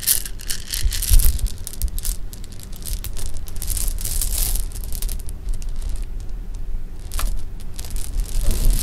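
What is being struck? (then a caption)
Sugar-shelled jelly beans on fabric. Sugar-shelled jelly beans are poured from hands onto fabric, then swirled and rubbed with fingertips and painted nails. A dense, bright rattling and crackling of small clicks and rustles plays over a constant low rumble. The texture comes in bursts that swell and thin out without stopping.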